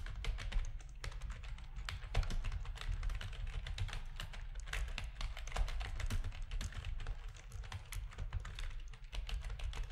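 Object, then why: Plastic computer keyboard. Fingertips of both hands type steadily on a full-size black plastic RGB-backlit computer keyboard with a hollow plastic housing, resting on a desk. Rapid, continuous key taps sound for the whole clip, each a short clack with a hollow low thud and a bright click on top that dies away almost instantly.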